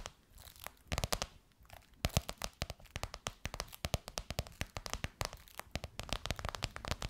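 Long white nails tap and scratch the top and edge of a gold crocodile-embossed faux leather pillowcase over a soft pillow. The result is a dense run of quick, dry taps with crinkly, crunchy scratching, each hit bright and clicky with a soft low thump and almost no ring.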